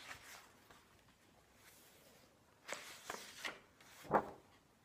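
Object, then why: Paper pages of a large hardcover book. A flat hand and fingertips turn and brush the glossy paper pages of a large illustrated hardcover book resting on a wooden table. Quiet, soft rustling gives way to a cluster of brighter, crisp paper swishes near the end, with the last page turn the loudest.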